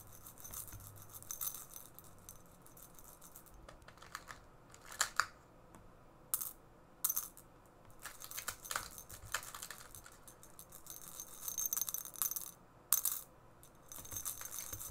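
Fingernails tap on a small, hollow, empty ceramic tea cup with a shiny dark iridescent glaze, held in one hand. The quiet taps give bright, crisp clicks with almost no ring, coming in irregular bursts of rapid tapping with short pauses between.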